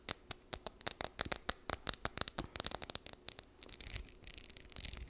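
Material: Plastic.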